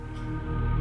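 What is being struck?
Nothing is struck.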